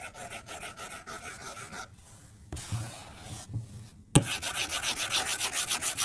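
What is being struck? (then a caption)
Plastic stylus on a glass tablet screen. A plastic stylus tip scribbles coloring strokes across the flat glass screen of an iPad, scratching the glass. Quick, rhythmic, bright rasping strokes run for about two seconds, drop to near silence, then return as a softer scrubbing patch. A sharp tap at about four seconds leads into louder, denser scratching to the end.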